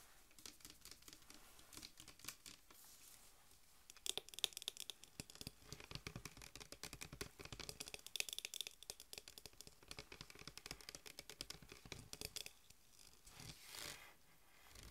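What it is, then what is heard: Full plastic soda bottle. Long nails tap and scratch the plastic wrap label and the body of a full green Mountain Dew PET bottle held upright in the hands. The result is a dense run of quick, bright crinkly clicks and scrapes with a few sharper taps around the middle. The scratching thins out briefly before a soft rustling swell near the end.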